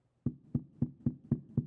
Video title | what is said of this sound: I Put a $99 Brad Paisley Pickup in a $130 Telecaster... And It SCREAMS! | There's a wire in this coil that's loose just a little bit and it's bouncing around and it's making that horrible microphonic sound.